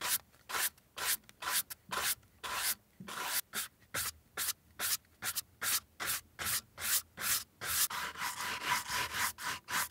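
A beige leather Chanel ballerina flat with a black cap toe is held in one hand and brushed with a wooden-handled horsehair brush in repeated rubbing strokes across the upper and the sole edge. About 27 short, bright, dry swishes come at a quick, somewhat uneven pace, with a faint steady tone near 1 kHz underneath that grows clearer toward the end.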